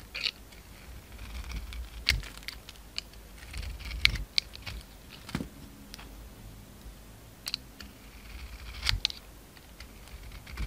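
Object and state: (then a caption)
Bar of soap being shaved. A utility knife blade scrapes and shaves the surface of a hand-size solid oval soap bar, held in the palm, with a glittery brown coating and a cream interior. Quiet, bright, crisp scraping clicks come at irregular intervals with short rasping shaves between them, centered around 2.2 kHz. Each stroke stops dry with no ring, over a low rumble.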